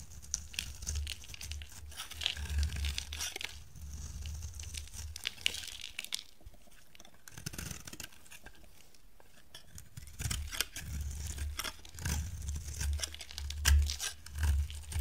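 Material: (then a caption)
Soap. A bright yellow bar of dry solid soap, held in the hand, is scraped and shaved with a metal blade. It makes dry, crumbly tearing and crunching scrapes over a low rumble, with a quieter stretch in the middle before the shaving picks up again.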